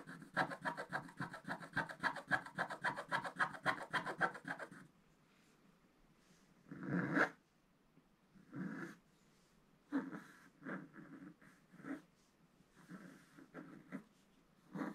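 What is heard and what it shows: A wooden stylus scratches across a flat, black-coated scratch-art paper card. For about five seconds it makes quick, rapid strokes with a dry, raspy texture, then quiets into separate, slower scratches with pauses between them.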